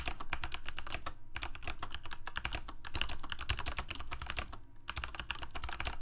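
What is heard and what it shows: Fingertips of both hands rapidly type on a full-size Corsair mechanical keyboard with plastic keycaps on mechanical switches, a hollow plastic case and blue backlighting. A dense run of sharp, bright clicks and clacks comes in quick bursts with brief pauses, each keystroke cutting off quickly over a low, thumping body.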